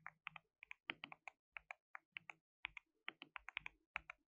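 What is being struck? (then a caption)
Plastic mechanical keyboard. Fingertips rapidly type on a compact white RGB-backlit mechanical keyboard with plastic keycaps and a hollow case. About 24 quick, bright, clacky keystrokes come in uneven bursts, each dying away almost instantly, with a hollow plastic tone and very little low end.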